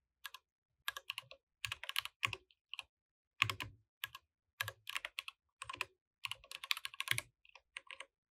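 Both hands type continuously with their fingertips on a compact mechanical keyboard with plastic keycaps. The result is quick bursts of bright, clacky key presses that stop dead with almost no ring, and the short pauses between keystroke clusters are irregular.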